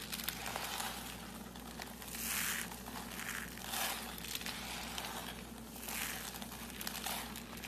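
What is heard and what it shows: Bare hands grab, squeeze and crunch a heap of fine, curly, brittle shreds of dry purple and pale green soap. Bright, crackling crunches swell and fade in repeated waves over a faint steady low hum.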